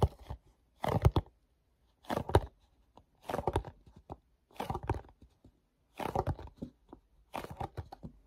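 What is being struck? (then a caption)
Small paperboard box. Fingertips make sticky rubbing and tapping sounds on the back label of a small, hollow, glossy paperboard mochi box held close. About seven short, quiet bursts of dry crinkling and crunching come at uneven intervals. Each burst has a low, hollow thud and dies away quickly into silence.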